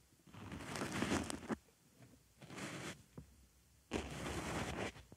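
A wooden stick scratches around and inside the hole of a white foam makeup sponge resting on a microphone ear. Three long bursts of dry, crackly rustling and scraping are heard, separated by quiet gaps with a few faint ticks.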